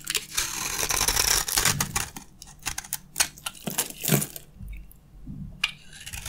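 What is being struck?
Bar of soap scraped with a metal blade.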